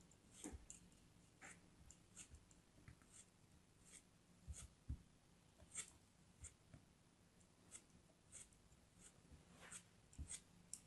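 A small, solid purple piece of kinetic sand is held between the fingers and carved and scraped with a metal craft knife. Soft, dry, crisp scrapes and cuts come at irregular moments, each a brief, bright rasp with almost no ring. They sit over a quiet, steady low hum.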